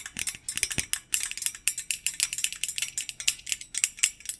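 Fingertips wearing metal thimbles tap and rattle along the wire bars of a medium, hollow stainless-steel wire basket held upright behind the microphone. About 27 quick, bright metallic clicks and jingles follow in an uneven, rapid patter, each dying out almost at once, with almost no low end.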